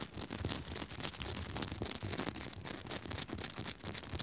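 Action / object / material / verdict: scrape / rock salt lamp / rock salt / none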